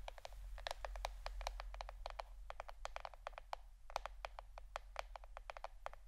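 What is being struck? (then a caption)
Plastic board. A plastic board shaped like a shirt is tapped with the fingernails for ASMR, giving a quick, irregular run of short, dry clicks that stop almost at once. The clicks sit in the mid range with some high, bright edge over a steady low hum.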